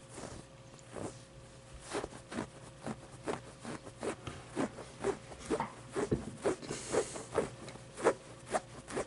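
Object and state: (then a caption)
Plush avocado toy scratched with nails. Long dark nails scratch quickly over the fuzzy embroidered pit and the fabric of a medium, soft stuffed avocado plushie. The result is a series of short, soft, brushy scratching bursts in an irregular rhythm over a faint, steady low tone.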